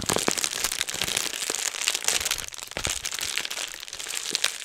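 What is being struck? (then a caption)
Plastic bubble wrap sheet. A clear plastic bubble wrap sheet is bunched in both hands close in front of a microphone, crumpled and squeezed with the fingers to pop the bubbles. The result is a steady stream of bright, dry crinkling and crackling with many sharp little pops that die away almost instantly, with hardly any low end.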